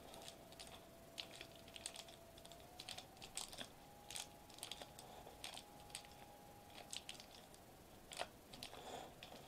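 Knuckles and fingertips of curled fists knock and tap a flat silver metallized plastic bubble wrap sheet resting on a white table. The result is a quiet run of crisp, bright, crinkly taps that die away almost instantly. A faint steady tone near 700 Hz hums underneath and rises slightly partway through.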